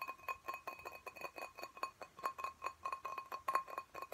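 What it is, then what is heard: Glass plant pot. A small clear glass plant pot filled with soil and a cactus is held in both hands while fingernails tap quickly on its glass sides. The result is a rapid, uneven run of short, bright clinks, each ringing briefly around 1 kHz with no low-end weight.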